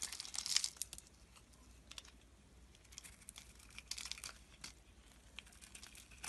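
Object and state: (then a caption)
Glycerin soap bar being shaved. A utility knife blade scrapes and shaves brittle flakes off a solid, translucent blue-purple oval glycerin soap bar held in the palm. Quiet, bright, crinkly scraping bursts come in irregular strokes, loudest near the start, with a burst around four seconds and short dry flicks in between.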